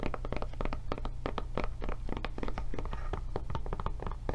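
Long nails tap and scratch rapidly on the back and raised handle flap of a blue silicone rubber tablet case held in the hands. The result is a quick run of soft, dull, muted taps with a low thuddy body and very little brightness, each dying away almost at once, with faint scratching between them.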